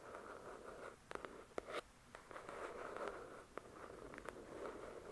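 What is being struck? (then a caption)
Paperback book with glossy card cover. Long acrylic nails tap and scratch the glossy card cover of a thick paperback novel. A soft, steady scratching hiss, centred in the low-mid and around 1.3 kHz, is broken by scattered sharp, dry clicks that die away instantly. The overall level stays quiet and close.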